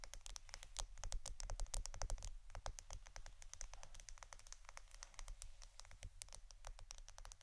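A roll of plastic adhesive tape is tapped and scratched quietly with fingers. Quick, irregular taps make short, dry, bright clicks with almost no ring, over soft scratching and a steady low hum.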